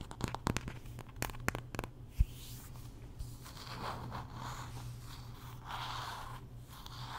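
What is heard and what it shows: Long nails tap and scratch the wooden back of a wooden paddle hairbrush with dark pin bristles. A quick run of sharp, bright taps in the first two seconds gives way to soft, breathy scratching swishes that rise and fall. A steady low hum runs underneath throughout.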